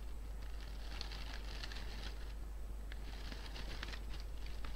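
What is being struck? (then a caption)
Artificial fabric or plastic flower bouquet. Painted fingernails and fingertips scratch, squeeze and rustle the petals and leaves of an artificial pink-and-white fabric flower bouquet. Soft, bright crinkling and scratchy crackles come in two bursts with a brief lull between them, over a steady low hum. The overall level stays quiet.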